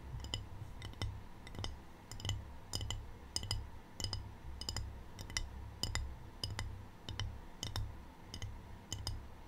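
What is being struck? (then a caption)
Glazed ceramic tray tapped with fingernails. Long painted fingernails tap a small, empty, rectangular white glazed ceramic tray with a black triangle print, held tilted. Quick, bright clicky taps come in small clusters with a very short ring, over a steady low rumble.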